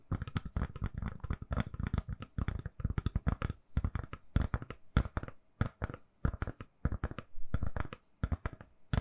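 Long nails tap rapidly on a hand-sized, solid lilac silicone-covered phone case on a phone held in both hands. The result is a quick, uneven stream of soft, dull, low thuds that stop dead with no ring.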